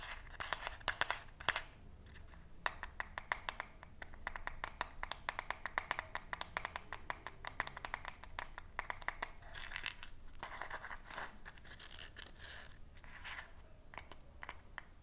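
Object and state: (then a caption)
Cardboard matchbox. A small closed cardboard matchbox with a printed paper label and a purple striker side is held in both hands while fingertips and nails scratch and tap the label and striker strip. The result is a steady stream of quick, dry, papery scratches and sharp little taps, bright and crackly, over a faint low rumble.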